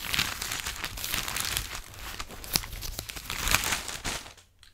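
A thin, flexible sheet of printed newsprint with photos and text is held in both hands while the fingertips fold, crinkle and rustle the pages. The result is a steady, bright crinkling and rustling with sharp crackles throughout, fading to near silence at the end.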